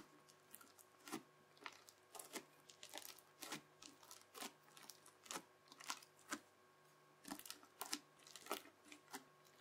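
A yellow plastic knife edge is pressed across spread-out teal crunchy, bubbly slime held in one hand, in chopping lines. It makes a quick series of short, crisp crackling crunches that are bright and snap off almost instantly, with irregular pauses between them. A faint steady hum sits underneath.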